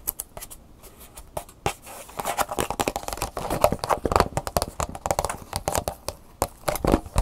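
Long nails tap quickly across the back, the plastic edge and the front bubble of a plastic blister pack with a cardboard insert. The result is a fast run of short, dry clicks and crinkly plastic ticks with a faint tone around 600 Hz. The taps start soft and grow louder and denser after about two seconds.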